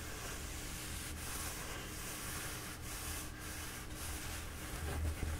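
A squashed, bee-printed paper towel roll held in both hands is slowly rubbed and scratched with the fingertips. The result is a steady, soft papery rustle with a low rumble underneath and brief brighter scratching strokes, growing slightly louder toward the end.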